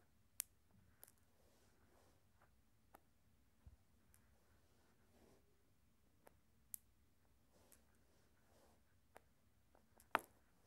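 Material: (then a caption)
Glass. Glass marbles are flicked so they strike each other, giving sharp, quiet glass clicks with a bright edge. The clicks are scattered irregularly across a near-silent background, with the loudest near the end.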